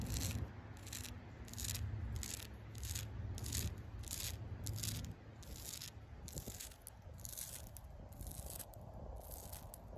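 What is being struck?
Tree bark.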